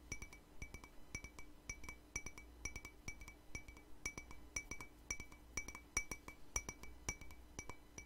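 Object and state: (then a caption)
Ceramic cup tapped with fingernails. A small, hollow, empty white ceramic cup, held in one hand, is tapped with fingernails in a quick, uneven series of light clinks. Each tap gives a short, bright ring centered near 2.3 kHz that dies away almost at once. A faint low hum sits underneath.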